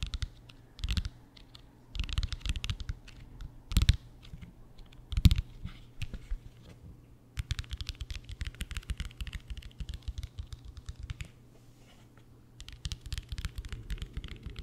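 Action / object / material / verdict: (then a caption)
tap / padded faux-leather folder / faux leather / none. A flat brown padded faux-leather diploma folder with an embossed seal, held close to the mic, is tapped and scratched with fingertips and nails. Bursts of quick, dry tapping and crackly scratching come in clusters with short pauses between. Each contact is a soft, dull thud with a brief bright crackle that dies away instantly.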